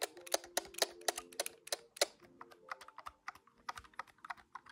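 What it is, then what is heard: Plastic desktop calculator keys. Several fingertips rapidly tap the keys of a large, hollow, grey-white plastic desktop calculator, making about 17 quick, sharp clacks at an uneven rhythm. Each press is a bright, dry click with a hollow plastic tone and a brief low-mid ring that dies away almost instantly.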